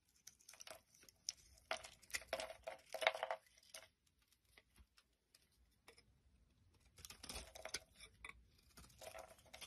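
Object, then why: Bar of soap. A utility knife blade scrapes and shaves curls off the surface of a solid white rectangular soap bar with embossed lettering, held in the palm. It makes quiet, crisp, crackly bursts of scraping with bright hiss. There is a near-silent pause in the middle before the shaving picks up again.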